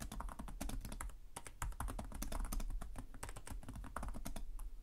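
Both hands type steadily with their fingertips on the plastic chiclet keys of a black laptop keyboard. A dense, continuous run of quick, bright clicks plays over a low, thumping undertone.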